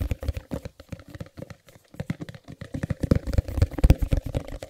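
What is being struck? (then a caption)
Small cardboard box. Fingertips tap and scratch the printed faces of a small, closed white cardboard Chromecast box held in the hands. The result is a fast, irregular patter of dull, low, hollow thumps that die away almost instantly, with faint scratchy texture between them. The tapping grows louder and denser toward the end.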